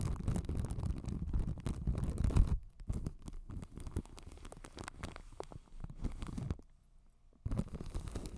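Long white acrylic nails scratch and tap clear plastic film wrapped over a hollow white ball microphone with a metal grille. The result is dense, rumbly crinkling and scratching with quick taps, heavy in the low end, pausing into near-silence for a moment before resuming.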